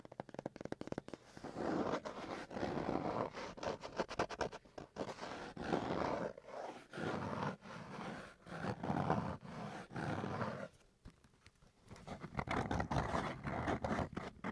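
A cardboard box is tapped and scratched. Rapid taps at the start give way to bursts of rough, scraping friction, most of the energy sitting in the low and mid range.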